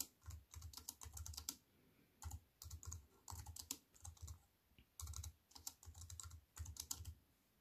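A compact wireless keyboard with black plastic keys in a thin silver aluminium frame, resting on a wooden table, is typed on with fingertips and long white nails. Bursts of quick, bright clicking keystrokes over soft low thuds come in runs separated by short quiet pauses, each click dying away almost instantly.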